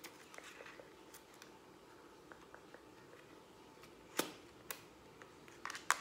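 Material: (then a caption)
Plastic. Long acrylic nails tap fast on the front and back of a hollow, hand-held lilac plastic Instax instant camera. The result is quiet, scattered, sharp, dry clicks with a bright edge and almost no ring, growing louder and closer together near the end.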